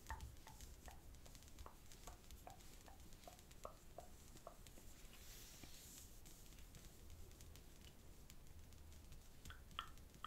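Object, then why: Sheet of thin paper on a cloth-covered table. Fingertips repeatedly tap and press along a single flat square sheet of green origami paper lying on a black cloth-covered table, creasing it. Soft, quiet paper taps and presses come in a steady run over a low background hum, with a slightly louder, brighter crinkle near the end.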